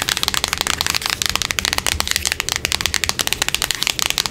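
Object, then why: Small printed cardboard box. Long acrylic nails tap fast on a small, hollow, closed, printed cardboard product box lying on a wooden table and held in hand. The result is a rapid, steady stream of crisp, bright clicking taps with very little low end, each tap dying away almost instantly.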